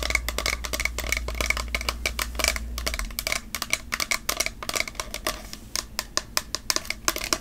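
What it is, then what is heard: Plastic body spray bottle. Long nails tap rapidly and steadily on a tall, partly full plastic fragrance mist bottle with a glitter print and a maroon label. Each tap is a sharp, bright click with a faint ring around 2 kHz that dies away almost at once.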